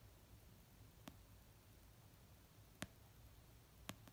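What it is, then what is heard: Paperback book. Fingernails tap slowly on the paper cover of an orange paperback novel resting on a blanket. A few sparse, short, dry clicks stand out from a quiet, low background hiss, each dying away almost instantly.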